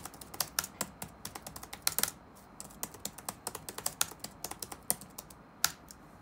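Fingertips of both hands type continuously on the black plastic keycaps of a dark plastic laptop keyboard resting on a wooden desk. Around thirty short, bright clicks follow in an uneven rhythm, each dying away almost instantly with little low end.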